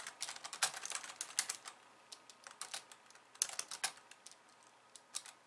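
Fast typing with long painted nails of both hands on a pink low-profile plastic computer keyboard with white keys, resting on a wooden desk. Dense, bright, dry clicks come in quick bursts with short pauses, each click dying away almost at once, with no low end.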